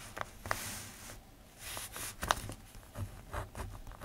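A plastic ballpoint pen writes on the page of an open paper notebook, producing soft, quiet scratching with bright hissy strokes. A few sharper ticks stand out as the pen taps or lifts off the page, with faint low rumble underneath.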